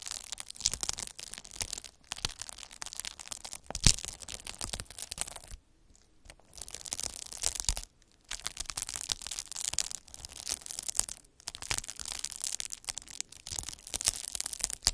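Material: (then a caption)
Plastic. A hand-held derma roller with a roller of fine metal needles is rolled over a large sheet of clear plastic bubble wrap, crushing and pricking the air-filled bubbles. Dense, bright crackling and sharp pops run almost continuously, with two brief quiet pauses near the middle, before the rolling resumes.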